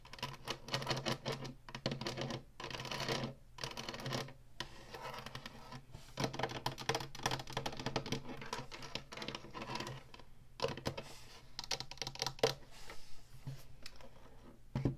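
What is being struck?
Plastic game console housing.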